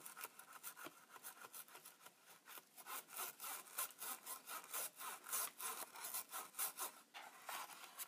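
A thin, pointed, pen-like tool scratches and scrapes along the plastic front panel and window edges of a Polaroid Supercolor instant camera. Quick, uneven back-and-forth strokes, about three or four per second, give a dry, bright, hissy rasp with no low end, growing slightly louder midway before easing off.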